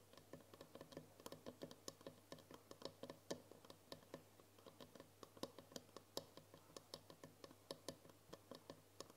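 Long nails tap rapidly on the wall of a tall glass jar with a green lid, full of foil wrappers. The result is a quick, uneven stream of sharp, bright clicks with a slight glassy tone around 540 Hz, each one dying away almost at once over a faint steady low hum.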